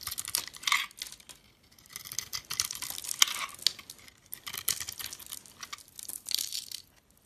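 A box-cutter blade scrapes thin shavings off the flat face of a solid oval soap bar held in the hand, the bar having a red and blue marbled skin and a cream-colored core. Quiet, bright, crisp scraping strokes come in bursts with brief pauses, with almost no low end and no ringing after each stroke.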